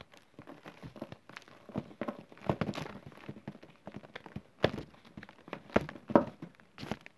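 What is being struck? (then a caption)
Loose chalk and cornstarch powder pile. Bare fingertips rake, squeeze and crumble a loose pile of fine green chalk and cornstarch powder with small crumbly clumps on a flat surface. Soft, dry, gritty crunches and crackles come in quick, uneven bursts. A few sharper, louder crumbles stand out toward the end.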